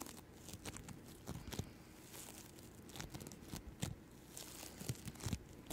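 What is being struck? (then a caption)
Floam bead slime. Yellow-green floam bead slime is stretched and pulled between both hands with long nails. Quiet, sticky tearing and crackling pops come in short, dry bursts over a low, soft rumble, with brief bright crackles on top.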